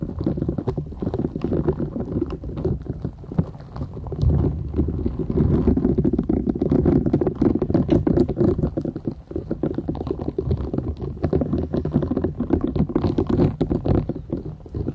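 A thin, solid, flat purple silicone scrubber sponge with short bristles is held folded in both hands while long nails scratch across the bristles. The result is a dense, continuous rapid scratching and crackling, weighted toward the low end with a dull, muffled tone. It stays steady for the whole clip, with a brief softer dip around the middle.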